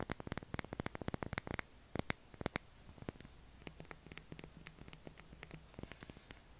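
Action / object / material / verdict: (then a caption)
scrape / bar of soap / soap / none. Fingernails scrape and tap a solid light-blue bar of soap with a heavily scratched surface, shedding soap flakes as it is held. A dense run of sharp, bright clicks and scratches comes first, then thins into softer, scattered scrapes over a faint low hum.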